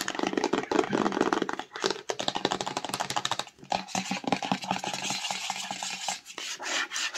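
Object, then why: Rigid cardboard phone box tapped and scratched with nails. Long acrylic nails rapidly tap and scratch the flat faces of a small, hollow, black rigid cardboard Samsung Note20 retail box held upright in the hands. The result is a dense, fast stream of dry clicks and raspy scrapes with almost no ring, mostly in the mid and high range.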